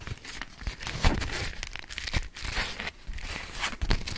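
A yellow polka-dot beeswax-coated cotton food wrap is held taut and folded while long nails scratch across it. Scratchy, crinkling rustles with bright hissy edges mix with soft low thumps that rise and fall in uneven bursts throughout the clip.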